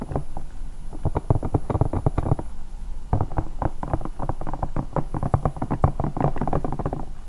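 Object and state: Silicone night lamp.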